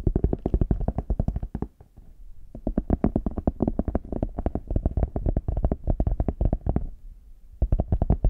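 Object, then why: Faux leather hard shell case. Fingertips and nails tap quickly on the smooth back and sides of a small, hollow, brown faux leather hard case held in both hands. The taps are dull, hollow and low-pitched, with very short decay. They come in dense bursts broken by brief quieter pauses near the 2- and 7-second marks.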